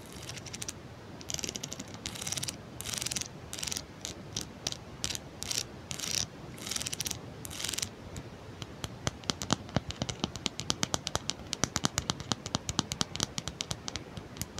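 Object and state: Plastic wide-tooth comb.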